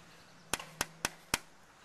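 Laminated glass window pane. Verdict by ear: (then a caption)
Impact-rated. A knife taps four times on a laminated-glass impact-rated window pane, which is confirmed as impact rated by its Miami-Dade approval marking. Each tap is a short, bright click that dies away almost at once, with no lingering ring.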